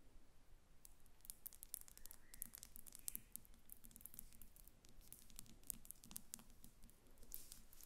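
Long nails of both hands tap rapidly on the front and sides of a glass perfume bottle standing on paper on a glass table. The result is a dense, irregular patter of sharp, bright clicks that die away instantly, heard over a soft low background hum.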